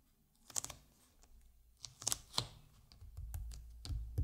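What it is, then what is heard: Glossy hardcover book cover, scratched with fingernails. Fingertips and nails of one hand scratch and rub across the glossy printed cover of a large, solid hardcover book with an aircraft picture, lying flat. About seven sharp, bright scratchy bursts come at an irregular pace over a soft low rumble, each dying away almost instantly between quieter rubbing.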